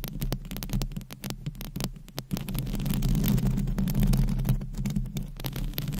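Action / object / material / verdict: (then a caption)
scrape / metal wire-mesh microphone grille / metal mesh / none. Long pointed acrylic nails scratch across the top of a large, dome-shaped, hollow metal wire-mesh microphone grille. The result is a rapid, irregular run of muffled, low, rumbling scrapes and soft taps with little brightness. It swells into a steadier, louder rubbing stretch in the middle before breaking back into quick scratches.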